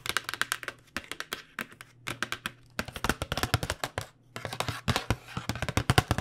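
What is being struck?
Flat cardboard box.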